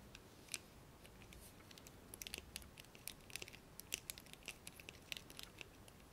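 A blue plastic hairbrush is handled with fingernails that tap its handle and pluck its black plastic bristles. The result is a quiet run of sharp, bright clicks and ticks at an irregular pace, with very short decays over a faint background hiss.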